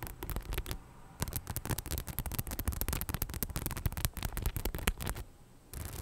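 Long nails scratch and tap rapidly on the rhinestone front of a hollow, beige faux leather bag held close to the mic, making a dense run of short, crisp clicks and scrapes that reach from a deep, close-up low end up into bright highs. The bursts pause briefly around one second and again near the end before starting up once more.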